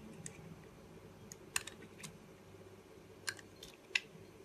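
A metal blade cuts and scrapes slices off a solid blue bar of soap held between the fingers. Short, crisp, bright clicks and snaps come at irregular intervals, each dying away almost instantly over a quiet, faint low hum.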